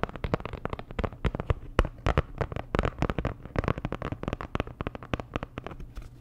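A flat, postcard-sized printed cardboard Dior packaging card or sleeve with a star design is held in hand and tapped and scratched with long nails. A rapid, uneven series of dull, thumpy taps mixed with brief scratching comes through, each one dying away almost instantly with a low, hollow body.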